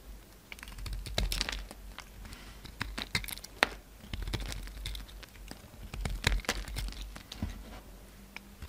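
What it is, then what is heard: Bar of soap being carved. A hand-sized solid orange soap bar with blue glitter remnants is held in one hand and carved with a utility knife blade into crumbly chunks. Dense, crisp scraping and rapid bright crackling clicks come in bursts over a faint low hum.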